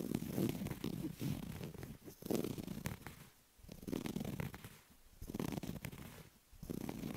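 Fingertips and short nails scratch and rub a flat orange woven carpet or fabric surface lying next to a white earphone cable. The sound is a dense, rough, rumbling scrape centered in the low-mid range around 215 Hz, with very little brightness. It comes in bursts of varying strength separated by brief quieter pauses.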